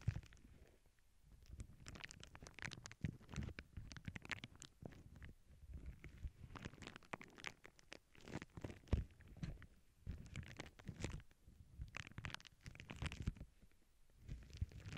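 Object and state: Plastic bubble wrap sheet.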